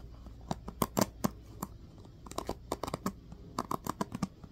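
Fingertips rake and flick the teal-tipped plastic pins of a small black plastic paddle hairbrush held close, making 18 short, sharp scratching plucks over a faint steady hiss. Each pluck is a dry, crisp tick with almost no ring, clustered unevenly at first and then in a quicker run toward the end.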